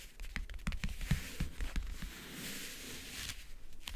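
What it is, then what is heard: Leatherette-covered backgammon case. Fingernails tap quickly on the lid of a closed, hollow backgammon case covered in map-print faux leather. Each tap gives a short, dull, hollow low knock with a bright clicky edge and almost no ring. A softer, steady scratchy stretch in the middle gives way to lighter taps at the end.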